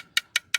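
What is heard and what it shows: A section of a carbon fiber bicycle frame is tapped three times with a coin, giving short, bright clicks with almost no ring. The section sounds solid and monolithic, with no sign of damage.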